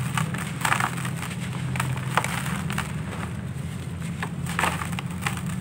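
Bare hands squeeze and crumble fist-sized solid lumps of dry, grainy brown-grey sandy clay into dusty powder in a red plastic basin. Dry, gritty crunches and crackles sound over a steady low rumble, with no clear pauses between them.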